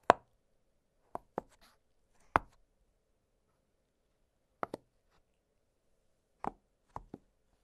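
Fingertips press and pop the hollow bubbles of an octagonal blue silicone pop-it fidget toy lying flat on a glittery surface. Short, dry, mid-pitched pops arrive at irregular intervals, some close together in pairs, with silence between them.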